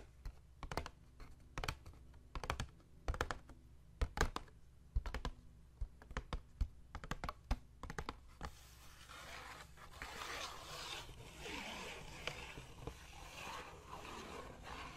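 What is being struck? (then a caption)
Small cardboard box. A small, hollow white cardboard box, held up in one hand, is tapped with the fingertips of the other, producing short, dull, hollow taps over a steady low hum. After about eight seconds the separate taps give way to a continuous rough, scratchy rustle that brightens and fades through the end of the clip.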